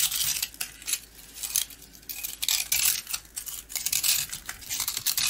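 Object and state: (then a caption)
Coated round rusk being cut. A box-cutter blade scratches and cuts into a small, partly carved coated round rusk, and crumbs fall from the dry, crumbly bread. The sound is a run of bright, dry scraping and crunching bursts with almost no low end and very short ring, rising and falling in loudness with each stroke.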